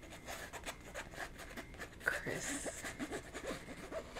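A soft, flat red and black plaid fabric Christmas pillow cover with a "Merry Christmas" print and glitter antlers is held up and rubbed and scratched with long red nails. The result is a quiet, continuous run of soft scratchy rustling with brief raspy strokes and a slightly sharper scrape near the middle.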